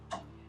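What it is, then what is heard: Fully fried puff puff (done). A fried puff puff (West African doughnut ball) is tapped, giving a single short, hollow tick with a ringing tone around 680 Hz that fades within about an eighth of a second over a faint steady hum. The sound shows the puff puff is fully fried and ready.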